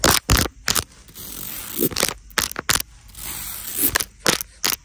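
Long nails tap and scratch across the rows of small black beads on a black beaded clutch bag. About ten sharp, bright clicking taps stand out, separated by softer, hissing scrapes as the nails trace along the beads.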